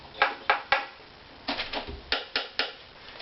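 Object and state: Violin neck tap tone slightly high but even.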